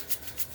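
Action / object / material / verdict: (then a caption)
shake / container of coarse salt crystals / salt / none. A container of pink Himalayan sea salt is shaken, and the loose salt crystals make a dry, hissy, maraca-like rattle. Two distinct shakes are heard.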